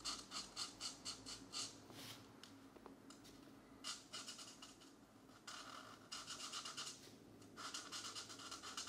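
A green felt-tip marker rubs and scratches across the paper page of an open paperback mandala coloring book lying flat, while the other hand holds the page down. Bright, papery scratching strokes come in quick back-and-forth bursts separated by softer, quieter stretches.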